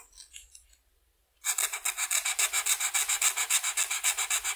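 A blue felt-tip marker is rubbed back and forth across a flat white paper coloring sheet to color in the wing spots. After about a second and a half of faint quiet, a rapid, steady series of bright, dry scratchy strokes begins and continues evenly to the end.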